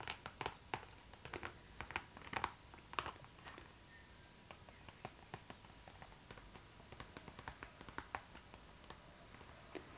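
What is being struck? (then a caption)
Clear PVC vinyl zipper pouch. Long nails tap on a clear pink PVC zipper pouch, a transparent vinyl bag with white print held upright, making quiet, sharp clicks on the glossy plastic. The taps come in uneven clusters, denser at the start and sparser later, each one brief and dry with a faint crinkle between them.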